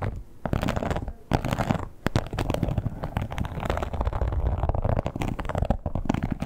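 Long pointed acrylic nails on both hands rapidly scratch and tap a red croc-embossed leather wallet that lies flat, closed with a strap. The result is a dense, continuous, low, muffled rustle with crackly textured scratches and soft quick taps, broken by brief pauses near the start and just before the two-second mark.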